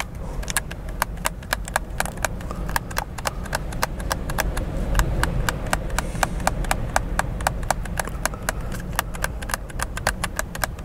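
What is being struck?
Plastic game controller.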